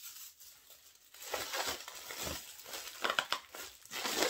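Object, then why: Plastic air-filled packaging pillows. A strip of clear, hollow, air-filled Amazon-style plastic packaging pillows is held in both hands, squeezed, crinkled and rubbed with the fingertips beside a larger pile of the same bags. After a quiet start, bright crinkling plastic rustles build up, with a few sharp crackles standing out near the end.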